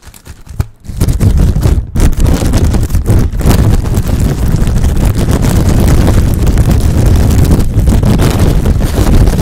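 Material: Plastic film.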